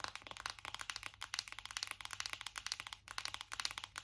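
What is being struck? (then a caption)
Cardboard makeup palette. Long acrylic nails tap rapidly on a hollow black matte cardboard eyeshadow palette held up in both hands. Around 25 quick, dry, bright clicks follow one another with almost no ring, and the sound is mostly high-pitched.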